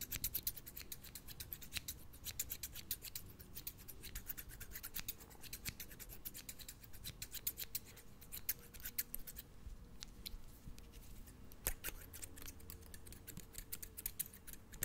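Medium-size scissors with steel blades and green plastic handles are held in one hand in front of the microphone, their blades opened and closed in rapid repeated snips. Each snip gives a short, bright, crisp click with blade-on-blade scraping. A quiet, steady low rumble sits underneath.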